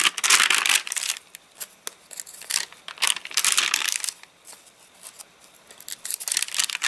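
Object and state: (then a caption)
Rain-dried, stiff paper catalogue pages. Fingertips repeatedly crinkle and bend the stiff, dried page edges of an open, rain-dried paper catalogue. Bright, dry crackling comes in irregular bursts with brief pauses between them. The sound has almost no low end and very little ring.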